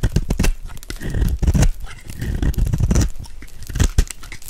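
A metal blade scrapes the face of a dry, solid white soap bar held in the hand, shaving off white flakes. The result is a dense run of crunchy, crumbly scraping strokes with a heavy low-end thud and short bursts of brighter crackle.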